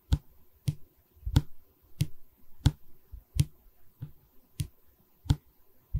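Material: Pine wood.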